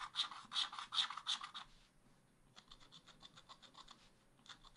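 A wooden stylus scratches ice cream shapes into the black wax-coated page of a spiral scratch art pad in continuous strokes, the other hand resting flat on the page. Bright, dry rasping strokes repeat at a brisk, uneven pace, louder for the first second and a half, then a short pause followed by a run of quicker, softer scratches.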